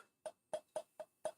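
Five taps on the centre of a turned Monkey Puzzle wood piece whose defect was filled with super glue mixed with shavings and dust, then sanded and polished. Each tap is a short, dry knock with a mid-pitched tone of about 600 Hz that dies away almost at once. The filled piece sounds solid and is rock hard.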